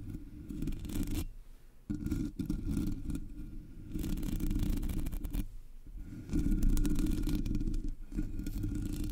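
Long nails scratch and tap the sides of the black, hollow metal mesh grille of a Blue Yeti microphone. The result is bursts of dense, rasping scraping, heavy in the low end, separated by brief quieter pauses. The scraping grows louder toward the end.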